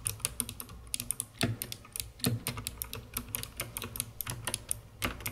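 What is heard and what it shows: Long red-painted nails and fingertips type continuously on a full-size COX CK900 S2 mechanical keyboard with white plastic keycaps, purple backlighting and a dark, hollow plastic case. The rapid keystrokes make bright, sharp clacks over a low, hollow thock, with a few heavier strikes standing out.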